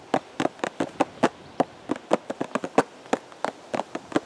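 A hollow purple and white cardboard teacake box, held at the chest, is tapped with the fingertips of both hands. Nineteen short, dry, hollow taps land at an uneven pace, each with a mid-pitched papery knock and almost no ring.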